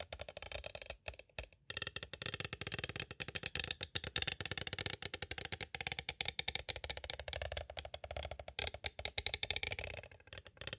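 A small, hollow, clear plastic cassette tape case with a paper insert is held upright and tapped from both sides with two green striped plastic stick tools. The result is a rapid, uneven stream of dry, bright plastic clicks and rattles that stop instantly with no ring, broken by a few brief pauses.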